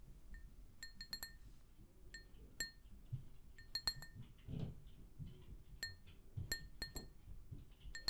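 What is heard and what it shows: An empty, hollow, pink glazed ceramic mug is tapped with long nails in a quick, irregular series of light taps. Each tap gives a bright, high clink that dies away almost at once, over a soft low rumble and faint rustling, with a brief duller brushing sound midway.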